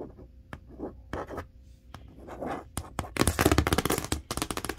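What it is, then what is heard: Cardboard box being scratched. Long acrylic nails scratch and trace over the printed surface of a large, hollow corrugated cardboard box for a 58-inch TV with packing tape on it. Soft, papery scraping strokes are broken by sharp, bright clicks, and the scratching turns louder and denser toward the end.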